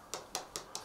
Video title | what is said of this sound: Ballinasloe Town Clock | tap the stones you can hear the hollow sound